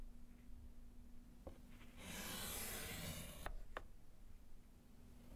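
A gloved hand scratches lines with yellow chalk on a small, solid slate board set in a wooden frame. A long, bright, scratchy chalk stroke rises out of a quiet background with a low steady hum. It ends in a few short, sharp ticks as the chalk meets the slate.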